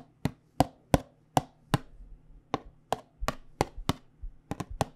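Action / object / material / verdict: tap / small cardboard tea box / cardboard / none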